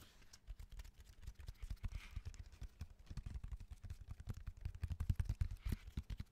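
A solid natural cork bark slab with a rough surface is held upright and rapidly tapped with the fingertips of both hands, including from the top edge. The result is a dense flurry of soft, dull, low-pitched thuds that stop instantly with no ring, growing slightly louder toward the end.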